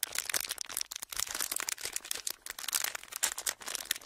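A thin, clear plastic packaging sheet, folded into a small pleated strip that is hollow and empty, is held in both hands close to the microphones and squeezed and crinkled with the fingertips. It makes a continuous run of dense, bright crackles and crinkles with almost no low end. Each snap is short and dry, and the texture stays steady for about four seconds.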